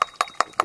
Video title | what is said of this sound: Sea Wall Inspection 170 st, North Miami Beach | you can hear the sound the hollow sound